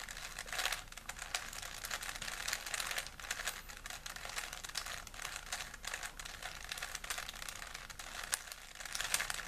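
A small solid plastic 3x3 Rubik's cube is held in both hands while the fingertips twist its layers. It gives a steady stream of rapid, bright plastic clicks and crinkly rattles with very little low end. Each click dies away almost at once.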